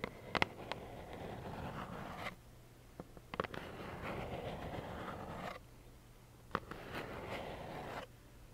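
Long nails scratch and tap a small, hollow, plaid cardboard tissue box held in both hands. Three stretches of dry, papery scratching are separated by quiet gaps, with a few short, sharp taps clicking out near the start of each.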